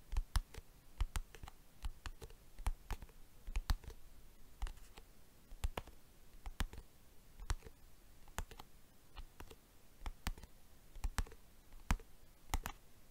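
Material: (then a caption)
Plastic. A plastic box is tapped with the fingers, giving a quick, irregular run of dry, clicky, tick-like taps over a soft hiss. Each tap dies away almost at once, with a bright click riding on a dull low thump.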